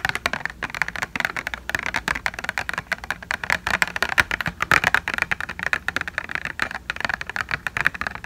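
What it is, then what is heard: Thin hollow plastic tray tapped with fingernails. Long fingernails rapidly tap and scratch a hollow white plastic false eyelash blister tray. The result is a dense, steady stream of crisp, dry clicks with a bright, thin midrange tone. Each tap dies away instantly, with almost no low end.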